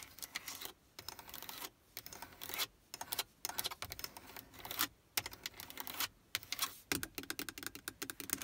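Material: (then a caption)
Hard plastic. Long acrylic nails tap rapidly on the hard plastic buttons and black plastic stereo faceplate of a Prius car radio. The result is a dense stream of bright, dry clicks with almost no low end, coming in quick bursts separated by brief pauses.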